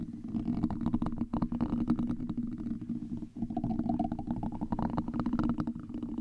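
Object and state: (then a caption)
Metal mesh microphone grille being scratched. Two gold and copper metal tools scratch across a black, domed, hollow metal mesh microphone grille, producing a dense, continuous rasping with a low, droning rumble underneath. The scratching stays steady for about six seconds, dips briefly just after the midpoint, then resumes with a slightly brighter tone.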